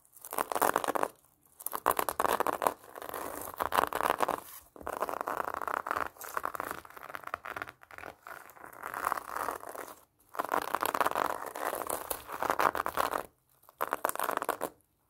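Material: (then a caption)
Plastic mesh. Long painted nails scratch and scrape over the orange plastic mesh net wrapped around a large pomelo and across its peel. The result is dry, crackly rustling in bursts of a second or two, centered in the midrange around 1 kHz, with short silent pauses between them.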